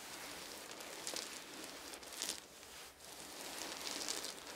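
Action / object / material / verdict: drop / small wooden beads dropped onto a blanket / wood / none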